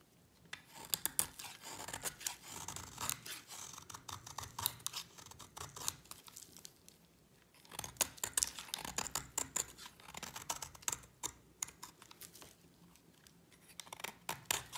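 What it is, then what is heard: Dry bar soap being scraped. A utility knife blade scrapes a solid white bar of dry soap in quick, repeated strokes. The result is a run of crisp, bright, scratchy shaving sounds with little low end, pausing briefly midway before resuming.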